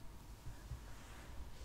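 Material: Nothing is struck.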